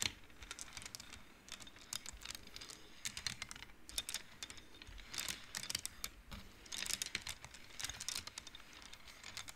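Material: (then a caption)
Wood. Fingertips and nails push the colored wooden beads along the metal rods of a large wooden-framed abacus, making a steady run of quick, bright clacks. The clicks are sharp and dry with almost no ring, set against a faint crinkle-like texture.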